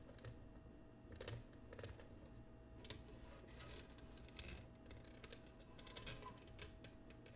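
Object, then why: Cut glass serving dish. Long painted nails tap and scratch across the patterned base of an empty, clear pressed or cut glass oval serving dish resting upside down on a wooden table. Quick, dry clicks and short bright scrapes come in a steady, busy stream over a low, constant hum.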